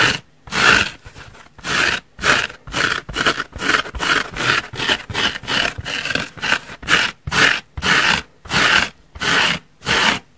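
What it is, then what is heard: Foam sponge scratched. Long nails scratch and dig into the top surface and edge of a large, soft, holey yellow foam car sponge. The result is a steady series of separate bright, rasping scratch strokes with short pauses between them, each one breathy and textured with little low end.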